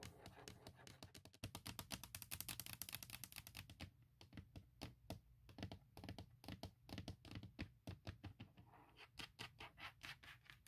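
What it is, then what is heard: Hard plastic laptop case. A thin, hollow hard plastic laptop shell lid cover with a forest print is tapped and scratched quickly by long nails. Dense, fast clicks and sharp taps with bright scratchy texture ride over a low hum, with very short, dry decay. The taps thin out and space apart after the first few seconds, then quicken again near the end.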